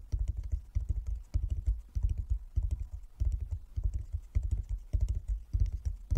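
Fingertips of both hands tap on a flat wooden chess board with light and dark inlaid squares. The taps come as quick rolling bursts of soft, low, dull thuds, repeating at a steady pace with short pauses between bursts. Each tap dies away almost at once with no ring.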